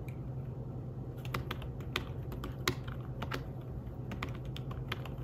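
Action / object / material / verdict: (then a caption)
tap / fabric-covered tablet keyboard / fabric / none. Fingertips type on a thin, flat, grey fabric-covered folio keyboard for a tablet, producing soft, muffled taps in an irregular stream with a few sharper clicks. The keystrokes are short and damped over a steady low hum.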